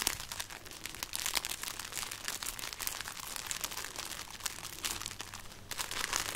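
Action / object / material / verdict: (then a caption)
scrape / string of dried chili peppers / dried chili / none. A hanging string of dried red chili peppers is rubbed and crinkled between fingers and nails, making a steady, dense, dry crinkling and crackling. The sound is bright and mostly high with little low end, and it swells a little louder near the start and again at the end.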